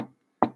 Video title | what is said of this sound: Módulo preclínica Síndromes pulmonares segunda parte Dr. Cavero Livia César | ese sonido que ustedes perciben se conoce como sonoridad